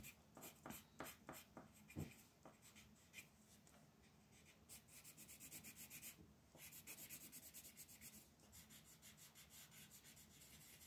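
A magenta wooden colored pencil scratches and rubs across the outer sections of a flat white paper mandala coloring sheet lying on a table. A few sharp, separate scratchy strokes open the clip, then it settles into a steady run of quick back-and-forth rubbing with a bright, papery hiss.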